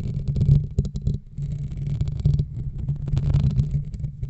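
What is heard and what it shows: A black foam microphone windscreen is slowly rubbed and scratched with the fingernails of both hands, producing a continuous low, muffled rumbling scrape. Uneven bursts of grainy friction swell and fade, with faint high crackle over a deep thudding base.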